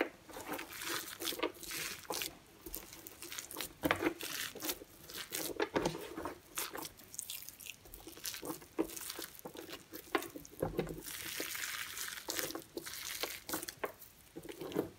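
Bare hands and fingertips press, squeeze and rub a pile of dry, crumbly orange and yellow soap shavings on a white surface, crushing the loose flakes into a ball. A steady run of dry, bright crunching and crinkling goes on throughout, with many quick, closely spaced crackles.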